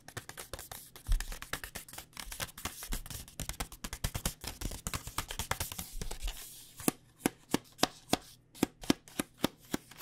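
Long painted nails tap a flexible plastic pouch of dry rice noodles held upright, making quick, crinkly clicks with a soft rustle. The taps come in a fast, busy flurry for about six seconds, then slow to sharper, evenly spaced single taps that stop short with almost no ring. A faint low hum sits steadily underneath.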